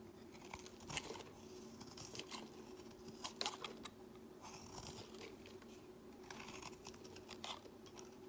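A solid pale-green bar of soap is held in the hand and shaved with a utility-knife blade, shedding crumbly shavings. Quiet, dry scraping and crackling strokes come in short bright bursts, with a faint steady hum underneath.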